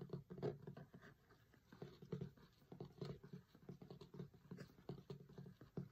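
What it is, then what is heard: Cloth-covered hardcover book. Fingertips and short nails tap rapidly on the printed cover photo of a closed hardcover cookbook with a linen cloth cover, lying flat. The taps form a quiet, uneven patter of soft, dull knocks, weighted low with little brightness, each dying away almost at once.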